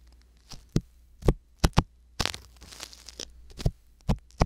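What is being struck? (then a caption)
Silicone ear scraped with a wooden ear pick. A wooden ear pick with a thin metal tip scratches inside the canal of a white silicone ear on a binaural microphone with small strokes. The result is a series of short, close, dry scrapes and soft low thumps, with a brief denser rustling patch midway. Bright crackle sits over the low thumps against near silence.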